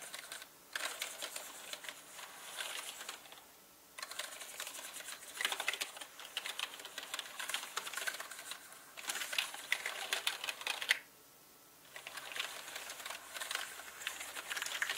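Fingertips with short nails type fast on a full-size black mechanical gaming keyboard with plastic keycaps on a dark, hollow-bodied frame. Bursts of rapid, bright, dry clicks and clacks come in runs, broken by brief near-silent pauses near the start, around four seconds and around eleven seconds.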